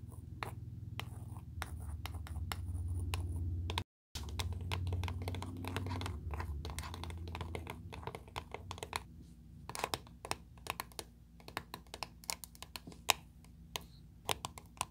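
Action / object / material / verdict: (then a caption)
tap / small round metal cream tin, tapped and scratched with long nails / metal / none. Long, pointed blue acrylic nails scratch and tap the closed lid of a small, round, 30 ml dark blue metal Nivea creme tin resting on a table. For the first half there is a steady, scratchy rubbing over a low hum, with a brief silence near four seconds. It then gives way to sparse, sharp, dry taps that die away almost at once.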